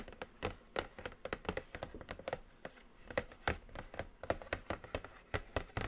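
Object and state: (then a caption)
Cardboard makeup palette box. A flat, hollow, medium-sized black cardboard eyeshadow palette box with a glossy print is tapped with long acrylic nails and fingertips. The result is a steady run of quick, dry clicks and soft hollow taps with a faint low thud under them. Each tap dies away almost at once.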